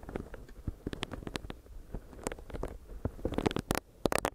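Long nails tap and scratch on a small, solid pink silicone facial brush whose bristle pad rests on the mic. The result is a close, dry stream of soft rubbery taps and scratchy rustles, mostly low and muffled, with a few brighter, sharper clicks toward the end. Each sound dies away almost instantly.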